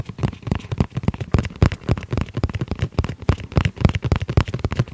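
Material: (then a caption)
EVA foam. Fingertips tap on the flat surfaces of a rigid, hollow, dark gray textile-covered hard-shell EVA zip pouch. The result is a rapid, unevenly paced stream of short, dull, low thuds with a hollow, boomy body and almost no brightness. Each tap dies away almost instantly.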